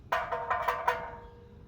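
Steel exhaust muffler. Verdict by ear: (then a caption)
Hollow. A steel exhaust muffler is knocked five times, each hit giving a hollow, tinny, ringing tone around 950 Hz with a short echo that fades after the last knock. The hollow ring means more open, unpacked space and less packing material inside, so this muffler will be louder.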